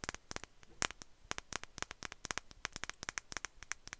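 A small glass perfume bottle with a fluffy atomizer bulb is held in one hand and tapped with long nails. It gives a quick, irregular run of sharp, bright clicks that stop almost instantly. Each tap is crisp and quiet, with little low-end body.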